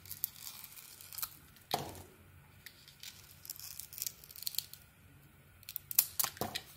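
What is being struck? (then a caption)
Soap bar. A solid speckled cream Lux soap bar, held in the palm, has its speckled outer layer shaved off in curls with a metal utility blade. The sound is a series of dry, bright scraping and cutting strokes with crisp high crackle. Some strokes are sharper and louder, and there are quiet pauses between passes.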